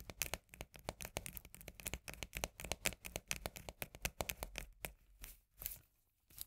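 A full tinplate can of Bonduelle corn with a paper label is turned in the hands while long nails tap and scratch its rim and labelled side. A fast, dense run of short, bright, clicky taps mixes with papery scratching. The run thins into a few scattered taps near the end.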